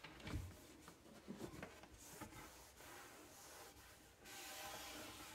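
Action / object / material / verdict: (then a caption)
scrape / wood-grain laminate cabinet door / laminate / none. A cloth rubs across a dark wood-grain laminate cabinet door, a flat panel, near its bottom edge. It makes soft, uneven swishing and scuffing with a few low bumps early on, then a steadier, brighter hiss of friction toward the end.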